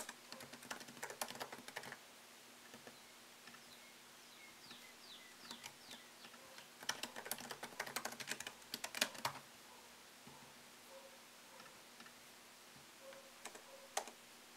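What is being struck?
Laptop keyboard with plastic keys in an aluminium body.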